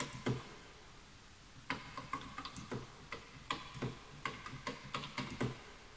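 Fingertips type quickly on a full-size bamboo wood computer keyboard with wooden keys, while the mouse is not touched. About fourteen short, dry, hollow clicks are heard, each with a light low knock and a woody tone near 1 kHz. They come in an uneven rhythm after a pause at the start and fade almost at once.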